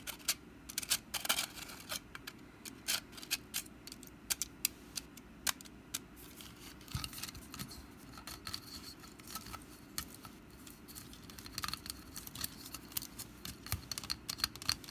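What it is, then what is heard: Woven wicker pumpkin basket. Long black nails scratch and tap the weave of a small, hollow, orange woven wicker pumpkin basket, and its lid is handled and then closed. Quiet, dry, bright crackling scratches are broken by many sharp, short clicks that stop instantly with no ring.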